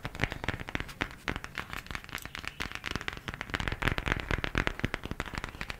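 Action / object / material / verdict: tap / cardboard eyeshadow palette / cardboard / none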